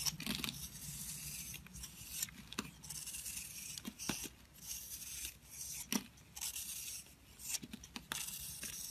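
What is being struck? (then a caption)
Bar of soap. A blade scrapes and rubs across a solid, oval green-blue bar of soap coated in powder, held in a hand with long white nails, shaving away its crumbly surface. The sound is a steady, bright, dry rasping with brief sharp scratches scattered throughout.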